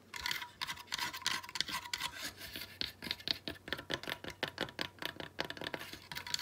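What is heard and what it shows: Long nails rapidly tap and scratch a small ornament of weathered driftwood sticks bound with twine, held over a table. The result is a quick, uneven stream of dry, bright clicks and scrapes with almost no ring or low end.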